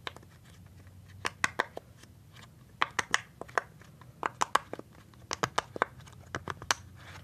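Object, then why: Silicone pop-it fidget toy. Fingertips press and pop the hollow bubbles of a rainbow silicone pop-it fidget toy sheet. About nineteen quick, dry pops come in irregular clusters, each a sharp snap centered near 1.1 kHz with a bright top and almost no ring. Soft crinkly handling noise fills the gaps.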